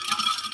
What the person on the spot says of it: if I shake it, hopefully you can hear that there's ice cubes in there